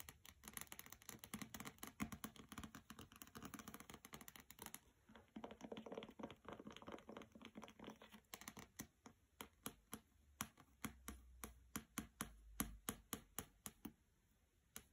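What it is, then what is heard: Hardcover book with glossy dust jacket. A hardcover copy of the novel "Graceling," wrapped in a glossy paper dust jacket and lying on a carpet, is tapped on its cover and side edges with long red nails. The first five seconds bring dense, rapid, bright tapping and scratching. After that comes a softer, rustling stretch, then spaced, crisp taps with short gaps between them.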